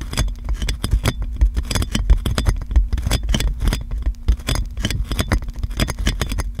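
Long nails scratch and tap clear plastic cling film wrapped around a metal microphone, making a fast, dense run of crinkling clicks and scrapes. Each tap lands with a heavy low thump and a short, bright plastic crackle that dies away almost instantly.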